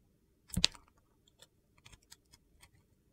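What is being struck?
Bar of soap.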